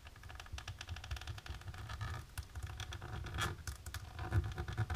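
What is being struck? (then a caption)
Embossed plastic sheet scratched with fingernails. Long natural pink nails tap and scratch quickly across a flat, dark embossed plastic sheet. The result is a quiet, steady patter of dense, short clicks and scrapes with a low rumbling body and faint bright crackle on top.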